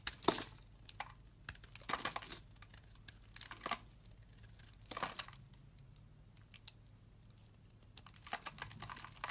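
A solid white bar of soap held in the hand is scraped and carved with a metal utility knife blade. Dry, crumbly scraping strokes come in short, bright bursts of crackling shavings over a faint low hum, with quiet pauses between cuts.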